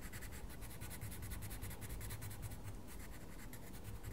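A wooden coloured pencil scratches a mandala page in a small paper colouring book in short strokes, while the fingertips of the other hand hold the page. Quick, even, bright scratchy strokes repeat steadily over a soft low rumble at a quiet, constant level.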